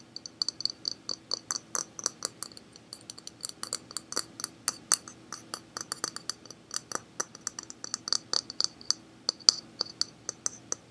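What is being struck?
Hard plastic object.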